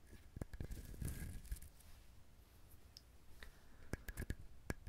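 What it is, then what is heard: Dried husked coconut. A dried, whole brown fibrous husked coconut, hand-sized with a hollow-sounding shell, is held in both hands close to a binaural microphone and scratched and tapped with fingernails. Quiet, irregular sharp clicks and taps stand out over a soft bed of dry scratching, with a dull low thump beneath the short, dry hits.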